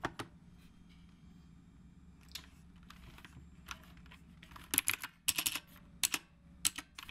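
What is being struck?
Mechanical keyboard with round plastic keycaps.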